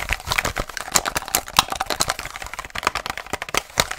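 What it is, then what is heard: Plastic blister pack with cardboard backing. A hollow retail package for a car headlight bulb, a hard clear plastic blister on a printed cardboard card held in the hands, is tapped and scratched very fast with long nails. The result is a dense run of sharp, bright clicks and crisp scratches, each dying almost instantly, with little low end.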